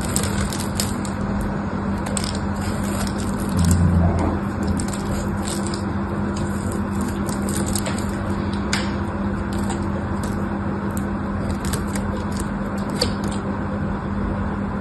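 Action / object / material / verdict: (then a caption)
scrape / bar of soap shaved with a knife / soap / none. A solid pink bar of dry soap, held in the fingers, is shaved along its edges with a craft knife. Quick, crisp scraping and crackling cuts repeat in an uneven rhythm over a steady low hum, with a brief louder low thud near the start.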